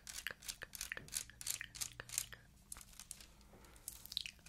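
A small, hollow, empty handbag woven from clear faceted plastic beads is scratched with long white acrylic nails. The result is a rapid run of bright, crisp clicking and crunching scratches with almost no low end. Each sound stops short with no ring, and the sounds come in quick irregular bursts with brief quieter gaps.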